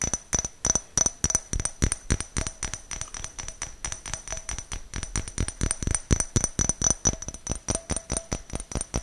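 A small, clear, hollow glass jar, apparently empty, is held in the hands close to the mic and tapped with fingernails. It gives a rapid, uneven stream of short, bright clinks, about four per second, each with a faint glassy ring that dies away almost at once.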